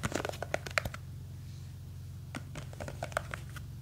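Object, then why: Plastic jar filled with gel beads. Long green fake nails grip and scratch a small clear plastic jar full of blue gel beads, producing quick, dry tapping and scratching clicks with bright, sharp edges. The clicks come in two bursts separated by a quiet pause, over a soft, steady low hum.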